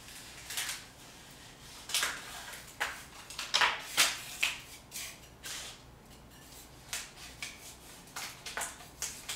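Thick, flaking paint on a solid painted concrete wall is peeled away with fingertips and long painted nails, then scraped with a metal putty scraper. About fifteen short, bright, crackling scrapes come at an irregular pace, each dying quickly against a quiet background hiss with almost no low end.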